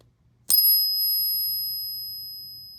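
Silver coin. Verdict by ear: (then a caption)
Real. A silver coin is pinged once on a ping tester, giving a bright, bell-like ring with high pure tones that sustain and slowly fade for over two seconds. The coin is judged real, unlike the fake coins.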